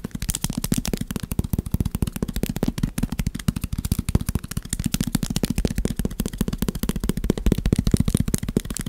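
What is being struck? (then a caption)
Pad of paper sticky notes. A small, solid stack of yellow paper sticky notes is held in the hand and tapped and scratched with fingertips and short nails in front of the recorder. The result is a fast, uneven stream of short, dry taps with dull, low thuds and crisp, bright scratching clicks, each dying away almost instantly.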